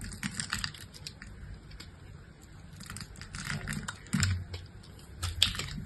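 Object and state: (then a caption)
Bar soap being cut. A utility-knife blade cuts along the edge of a solid pink soap bar with a crosshatched surface, slicing it into small cubes. Crisp, bright scraping and crunchy ticks repeat throughout, over a soft low rumble. Two louder cutting bursts stand out near the end.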